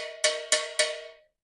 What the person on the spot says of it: como é que a gente diferencia ele através do som um som de sino